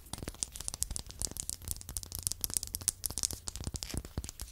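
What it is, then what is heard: Small wooden block. Long acrylic nails tap and scratch two identical small, solid, light-colored wooden blocks held in the hand beside a foam microphone. The result is a quiet, rapid run of crisp, dry, bright clicks and scratchy ticks that stop almost instantly, over a faint low hum.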